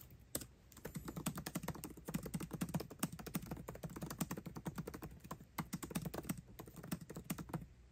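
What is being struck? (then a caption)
Laptop keyboard with plastic keys on an aluminium body. Fast two-handed fingertip typing on a 13-inch aluminium MacBook Pro keyboard with backlit black plastic keycaps, tapping the keys continuously. Dense, rapid, short clicky taps with a low, soft body around 184 Hz. There is a brief pause near the start and quieter gaps around 5.5 and 7 seconds.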